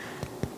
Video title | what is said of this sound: Deli-Style Polka Dot Bread with Your Ankarsrum Mixer | 두드렸을 때 좋은 속이 빈 소리가 나야 합니다